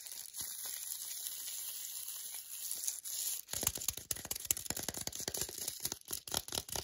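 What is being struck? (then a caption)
Paper-and-foil chocolate bar wrapper. Long glittery nails tap and scratch the glossy paper wrapper of an unopened foil-and-paper wrapped milk chocolate bar held in the hands. A bright, crinkly scratching fills the first three and a half seconds, then gives way to fast, sharp taps with brief crackles that continue to the end.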